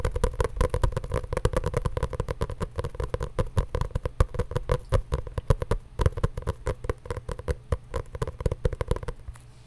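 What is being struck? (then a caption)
Hardcover journal with cardboard covers and paper pages. A solid hardcover journal with a grey printed cover and paper pages, held in the hands, is tapped with long nails in a rapid, continuous stream of short, dull taps for about nine seconds. The taps are low and muffled with almost no ring, then stop as the clip ends.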